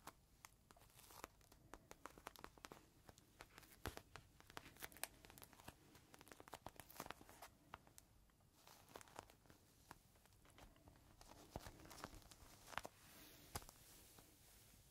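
A small clear plastic bag holding a folded green microfiber cloth, soft and full, is held in the hand and squeezed and scratched with fingertips. It gives off quiet, continuous crinkling of plastic with many sharp, dry crackles across a broad, bright range over a soft low rustle.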